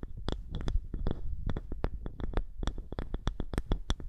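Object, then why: Small round polished wooden disc. Long nails on both hands scratch a small, thick, polished round wooden disc held over the microphone. The result is a rapid, uneven run of short, dry scratchy ticks with bright crisp tops, set over a dense, low, muffled rumble.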